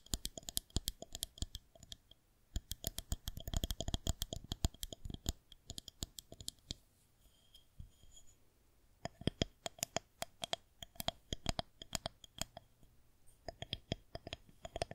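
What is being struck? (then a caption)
Plastic rolling pin. Long nails tap and scratch along the surface of a solid white plastic rolling pin held in both hands. Rapid bursts of sharp, bright clicks come in clusters. A quieter stretch of soft scratching sits in the middle before the tapping resumes.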